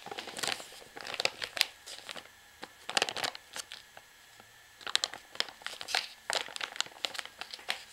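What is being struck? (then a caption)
Plastic washing powder pouch. A full plastic pouch of washing powder, held upright in both hands, is squeezed by fingers and tapped with nails. Bright, crisp crinkling of the plastic and the soft shifting of the powder inside come in quick bursts separated by brief quiet gaps.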